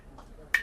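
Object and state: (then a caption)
Hollow dry coconut. A hollow, dry coconut is tapped for contrast, giving two short, bright taps with a ringing tone around 1.9 kHz. Each tap dies away quickly, sounding hollow and dry, which marks this coconut as not the normal, water-filled kind.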